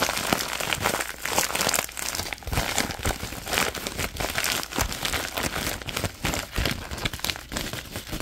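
Hands crumple an empty orange padded plastic bubble mailer envelope with a bubble lining while fingertips scratch its bubbly surface. A dense, continuous stream of bright crinkling and crackling rises and falls in short bursts throughout.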